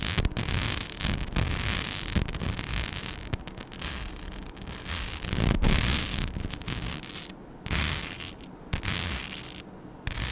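A flat, palm-sized rhinestone-covered mic skin sheet with holes is scratched with long nails. The result is a dense, uneven run of rough scratching and rasping with bright, hissy texture and low rumbling thumps, briefly dipping quieter near the end.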